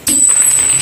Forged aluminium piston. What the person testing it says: Bunyinya aja kayak baja. Kering gitu loh.